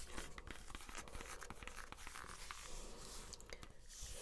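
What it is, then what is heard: Rubber shoe sole. Long nails scratch and tap the ridged, tan textured rubber outsole of an espadrille wedge sandal held up in the air. A quiet, steady run of dry scratching and crackling comes with soft, quick taps, over a low, constant rumble.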